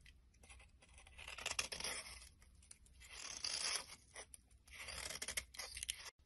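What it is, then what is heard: Soap bar being scraped. A utility-knife blade scrapes along the surface of a solid, hand-sized brown soap bar, peeling off orange flakes. The sound is a dry, crackly, bright scraping that swells and fades in several slow passes, with little low end.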